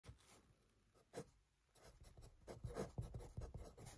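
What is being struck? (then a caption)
Graphite pencil on paper notebook. A hand with light green painted nails writes with a yellow wooden graphite pencil on a lined paper notebook lying flat on a desk, a solid stack of sheets. The pencil tip scratches across the paper in quiet, irregular short strokes with a soft, low-weighted rasp. The strokes come sparsely at first, then grow busier and slightly louder toward the end.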